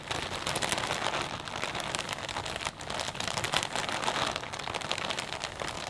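Fingertips rub and squeeze a clear plastic bag full of potato chips, producing dense, bright crinkling and crackling that runs steadily for about six seconds. The rustle centers high, around 3.4 kHz, with little low end, and dips briefly near the middle before picking back up.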